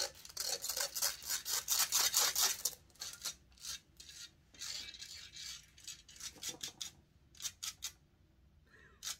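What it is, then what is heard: Metal microphone grille being scratched. Long nails scratch and rub the hollow metal mesh grille of a large silver condenser microphone. Rapid, bright, hissy scraping strokes come thick and loud for the first few seconds, then thin out into quieter, separate rasps with short gaps. A final quick burst of scratching ends the clip.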